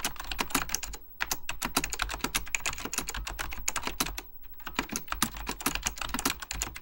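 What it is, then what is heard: Plastic mechanical computer keyboard being typed on. Fingertips with short, dark-painted nails type quickly on an Apple Extended Keyboard II, a plastic mechanical computer keyboard with beige plastic keycaps and a hollow plastic case. Dense, bright, clacky key taps run throughout, with brief pauses near 1 second and 4.5 seconds. Each tap dies away almost instantly over a steady low hum.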